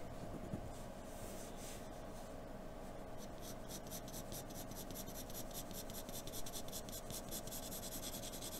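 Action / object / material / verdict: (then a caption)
scrape / graphite pencil on drawing paper / paper / none. A wooden graphite pencil held in a blue extender draws light scratching lines on a flat white sheet of drawing paper resting on a dark table. Soft, papery scratches come in quick, rhythmic strokes that grow more regular and brighter after the first few seconds, over a quiet, steady low background hum.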